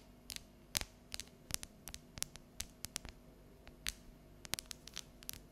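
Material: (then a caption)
Chocolate. Long yellow nails tap and scratch the ridged squares of a solid, unwrapped dark chocolate bar held tilted. About twenty crisp, bright clicks and short scratchy strokes come at an uneven pace, each dry and dying away almost instantly, over a faint steady low hum.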